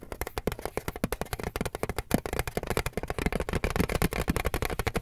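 A flat rectangular decorated metal tin with a car print, hollow and held in both hands, is tapped and scratched with fingertips and nails on its lid. The result is a rapid, irregular stream of short, dry taps with hollow low thuds and brief scratchy clicks that stop almost instantly.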